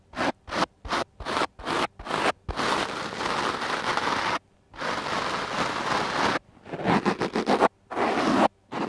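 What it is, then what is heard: Foam microphone windscreen brushed with a stiff-bristle brush. A stiff black-bristled, wooden-backed clothes brush scratches and brushes across a large, soft, porous dark-blue foam windscreen on a microphone held in one hand. A run of quick, separate scratchy strokes gives way to two long, continuous rasping scrapes, then a burst of rapid brushing. The sound is dense, broadband and rustling, centred in the mids with a bright hiss on top.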